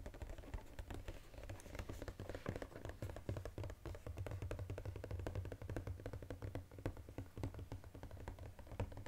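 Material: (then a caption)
Paperboard. Fingers rapidly tap the edges and sides of a flat, textured brown Godiva paperboard chocolate box held upright. The result is a fast, continuous run of short, dull, low taps that die away almost instantly, over a steady low hum.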